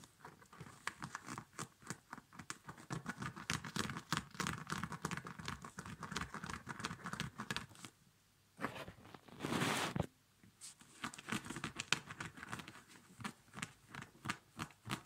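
Fingertips and nails scratch and tap the rubber badge and puffy fabric of a small child's snow boot, which is hollow and empty, with a padded quilted nylon upper and a rubber lower. Quick, irregular taps and crinkly scratches run densely for about eight seconds, then briefly go quiet. A louder, broad rustling swipe follows before the scattered tapping resumes.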